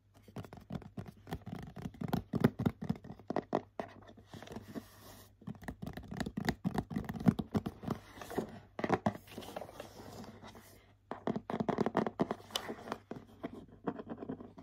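A flat printed cardboard cosmetics set box is held in both hands while short nails scratch and tap its coated cardboard surface. The result is dense, dry, crackly scratching mixed with quick soft taps, coming in bursts separated by brief pauses, with no ringing after each touch.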